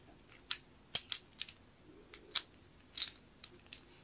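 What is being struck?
Metal key in brass keyhole plate.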